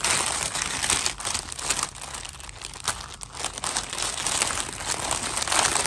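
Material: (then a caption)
Plastic. A clear, thin plastic bag holding four fashion dolls lies flat on a white table while fingertips press and rub the plastic. The result is continuous bright, crisp crinkling with rapid crackles that rise and fall in intensity, softening briefly in the middle before growing louder again toward the end.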